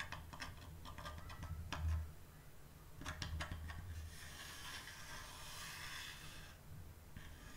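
Fingertips and long nails scratch and tap along the lettered surface and edges of a flat, solid, varnished wooden door sign resting on a teal cloth. Quick, dry clicking taps come in two clusters, then give way to a steady, bright, hissing scrape. A low hum runs underneath throughout.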